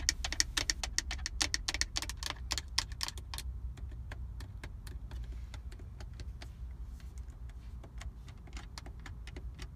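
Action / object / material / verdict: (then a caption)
tap / hard plastic car radio faceplate / plastic / none. Long acrylic nails and fingertips tap and scratch across the hard plastic radio/CD faceplate, with its buttons, on a car's centre dashboard stack. Rapid, bright, sharp clicks come fast and loud for the first few seconds, then thin out into softer, sparser taps and scratches. A steady low rumble runs underneath throughout.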